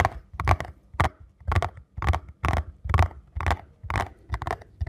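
A small printed paperboard ankle support box is held and turned in the hands while fingertips tap on its face and edges. A steady, slightly uneven run of short, dull, hollow taps follows, each with a low thump and a brief crinkly papery rasp that dies away almost at once.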